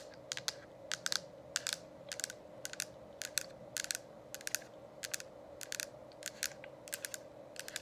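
Long acrylic nails tap on the hollow, lit plastic dome cover of an essential oil diffuser, producing quick, bright, clicky taps that come in short clusters and stop dead with no ring. A faint, steady hum runs underneath throughout.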